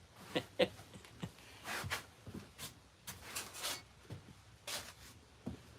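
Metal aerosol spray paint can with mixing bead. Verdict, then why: Loose. A metal aerosol spray paint can is shaken before painting a vintage outboard motor, producing a series of short, bright clacks and rattles as the mixing bead knocks around inside. The bead rattles freely, showing it is loose and mixing the paint.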